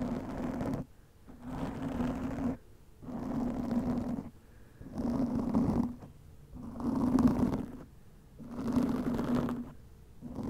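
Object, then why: Foam microphone windscreen. Long nails slowly scratch a black foam windscreen over a microphone, producing repeated muffled, rough rustling strokes with a low, buzzing tone around 270 Hz. Each stroke lasts about a second and is followed by a brief near-silent pause, in a steady rhythm of about one every couple of seconds.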